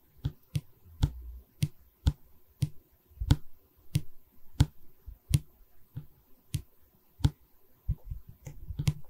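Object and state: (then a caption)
Wooden canvas stretcher frame tapped with nails. Long fingernails tap and scratch a solid pine bar of a wooden canvas stretcher frame held in both hands. About fifteen sharp, dry clicks with a dull low thump stand out, each dying away almost instantly, and soft scratching fills the gaps between them.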